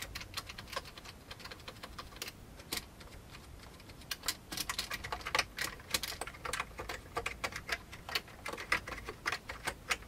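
Fingertips of both hands type on the keycaps of a full-size old beige plastic computer keyboard with a hollow plastic case. The result is a quiet, irregular stream of short, bright clacks with little low end and almost no ring, with occasional louder keystrokes standing out.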